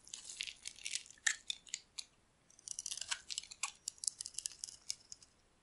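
A metal utility blade scrapes shavings off a solid dry soap bar held in the hand, its surface mostly white where it has been carved. A rapid series of crisp, bright, crunchy scraping strokes comes in two bursts separated by a short pause, each stroke dry and quick with almost no low end.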